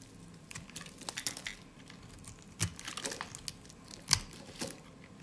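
A solid, dry peach soap bar is carved and shaved with a utility blade, and thin, crunchy slices come off. Quiet, bright crinkling and scraping strokes are heard at irregular intervals, with a few sharper crunches standing out. Each sound stops quickly with almost no ring.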